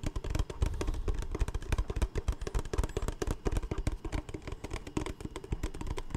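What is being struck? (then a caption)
Capped plastic water bottle. A large, empty, capped clear plastic Smartwater bottle is held in the hands and tapped and scratched along its hollow sides with fingertips and nails. A rapid, continuous run of short, dry, hollow taps with a deep, thumpy low end follows, each dying away almost instantly and mixed with faint scratching.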